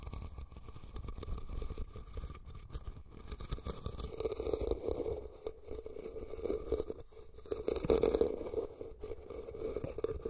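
Fingernails scratch and tap the sides of a hollow red woven rattan cylindrical basket placed over the recorder. The result is a steady, dry, rustling scrape with soft taps and a hollow resonance around 470 Hz that swells louder in places.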